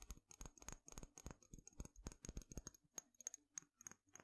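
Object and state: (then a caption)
Glass dropper bottle. A small dark glass dropper bottle with a green label and black dropper cap is held in one hand, tapped and scratched with fingernails along its glass body, and turned in the hand. About two dozen quick, irregular taps click against the glass, each dying away almost at once. A thin, high glassy tone sits over the taps, with soft scratching between them.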